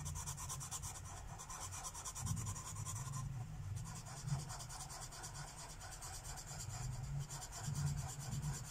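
A Sharpie felt-tip marker is rubbed in fast, short strokes across a thin paper page of a coloring book resting on a wooden table. It makes a steady, rapid scratchy rubbing with a dull low body underneath and a bright, pulsing hiss on top. The strokes swell slightly louder at moments and pause briefly.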